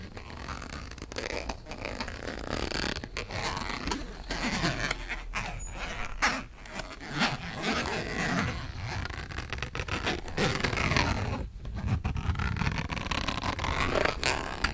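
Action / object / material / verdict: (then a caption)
scrape / thin printed cardboard box / cardboard / none. Long nails scratch across the surface of a thin, flat purple printed cardboard eyeshadow palette box held in the hands. The result is a steady, dense rasping scrape with gritty bursts and brief pauses, set over a low rumble and reaching up into a bright hiss.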